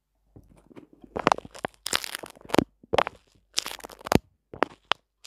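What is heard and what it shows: A small flat sheet of soft white paper towel is held in both hands just above a microphone while fingertips pinch, stretch and rub it. Irregular clusters of dry, crunchy crinkling and tearing-like crackles come in quick bursts separated by short pauses, each snapping off with no ring.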